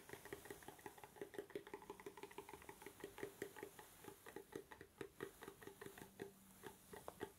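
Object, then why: Small cardboard gift box. A small, hollow, dark navy cardboard gift box is moved around the head while fingertips tap and scratch it quickly. A steady stream of rapid, light, hollow taps with a papery resonance near 395 Hz mixes with soft scratching. Each tap is short and dry, with almost no ring.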